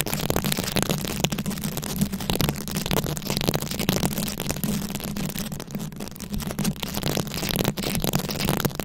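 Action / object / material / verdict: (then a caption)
scrape / microphone head covered in plastic rhinestones and beads / plastic / none. Very long acrylic nails scratch over a round, fist-sized microphone head covered in plastic rhinestones and beads. The result is a dense, continuous crackling and rasping texture with bright clicky edges over a steady low hum near 190 Hz.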